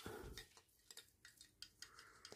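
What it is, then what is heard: Plastic snow globe. A small plastic snow globe decoration with real pine cones inside is shaken, giving a series of light, bright rattling clicks and knocks over a faint low rumble. The globe is plastic rather than glass, so it will not break if dropped.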